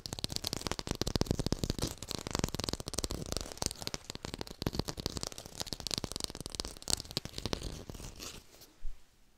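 A textured artificial plastic lime is fast-tapped close to a hi-fi microphone, giving a dense, rapid stream of crisp, dry clicks and scratchy taps with a bright edge and some low body. The tapping continues steadily, then thins out near the end, leaving one last soft tap before it falls quiet.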